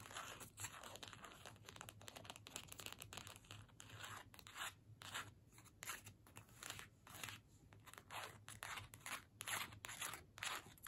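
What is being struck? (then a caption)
Small cardstock paper gift tag. Long nails scratch and tap across the surface and edges of a small, flat cardstock holiday gift tag with a string, held up in the air. The result is a quiet, irregular run of dry, papery scratching and light tapping bursts, bright and crackly with little low end.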